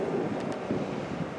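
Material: Nothing is struck.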